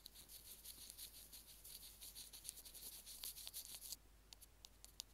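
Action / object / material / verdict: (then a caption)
scrape / plastic earphone remote tapped with wooden sticks / plastic / none. Two wooden sticks tap and scratch along the casing of a small white plastic Apple earphone mic/remote on its cable. The first four seconds are steady, bright scratching and rubbing. This gives way to quieter moments broken by a few sharp, crisp ticks.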